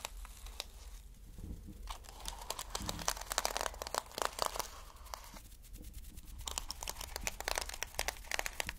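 Fingertips brush back and forth across plastic flip sequin fabric held in both hands. The result is a dense, bright crinkling and clicking rustle with short, sharp ticks over a faint low hum, with a slightly quieter stretch in the middle.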